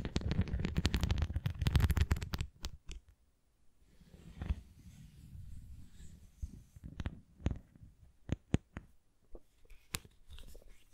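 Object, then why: Thin hollow plastic flying disc. Long painted nails scratch rapidly along the rim and top of a thin, hollow red plastic flying disc toy, giving a dense, low rustling scrape for about two seconds. After a brief pause, softer scratching and a series of sharp, irregular taps on the disc's nubbed face follow, each click dying away almost instantly.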